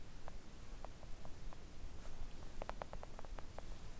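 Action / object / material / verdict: tap / silicone mat tapped with acrylic nails / silicone / none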